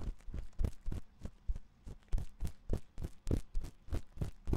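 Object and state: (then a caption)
Silicone microphone ear being scratched. A thin metal ear pick scratches inside the ear canal of the white silicone ear on a 3Dio binaural microphone. It makes a quick, uneven series of short, close-up scraping strokes, each a deep, muffled thump with a brief bright rasp on top.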